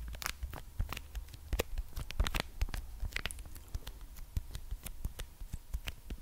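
A small red plastic ketchup sachet, apparently full, is held in one hand and tapped and scratched with the long nails of the other. Quick, dry clicks and crinkly scratches follow one another with a soft, dull low thump beneath, and bright tapping edges that die away almost at once.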